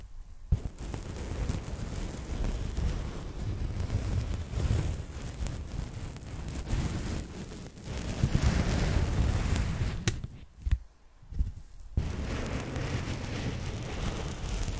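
A thin, flat, empty pink polyethylene foam packing bag is slowly scratched and tapped with long nails. Soft, low, rumbling scratches run continuously, broken by sharp taps and a few brief pauses near the end.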